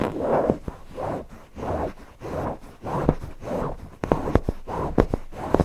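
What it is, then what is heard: Cotton fabric cushion being scratched. A stuffed cotton owl cushion is scratched and rubbed quickly with the fingertips over its eyes and fabric. The result is soft, rhythmic bursts of low-mid scratching, with sharp little clicks mixed in toward the end.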